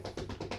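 An unplugged metal computer case, apparently a Mac, resting on the floor as a footrest, is tapped six times in quick succession. Each tap is a short, dull knock with a low body and very little ring, and the taps come at a steady rhythm.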